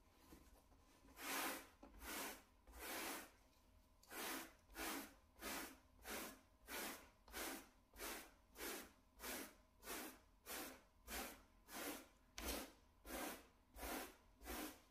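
A small, solid, flat grey plush shag carpet mat is scrubbed with a small blue-and-white plastic brush held in a gloved hand. About twenty steady, evenly spaced brushing strokes are heard, each a soft, breathy, bright swish of bristles dragging through the pile, with quiet pauses between them.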